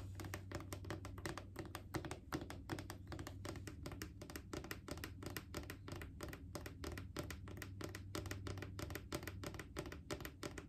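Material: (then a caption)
Plastic. A hollow plastic Clorox disinfecting wipes canister is tapped with long painted fingernails on its side and near the lid. The result is a rapid, steady stream of short, dry plastic clicks that die away almost instantly, over a low, constant hum.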